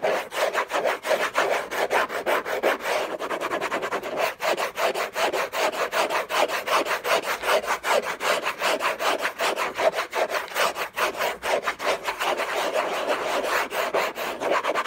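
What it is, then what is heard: Cardboard box scratched. Short fingernails and fingertips scratch fast across the textured paper surface of a large, flat, hollow orange Hermès cardboard box lid resting on a fur rug. The result is a rapid, uneven run of dry, papery scraping strokes centered in the midrange around 630 Hz, with a bright hiss and no low end.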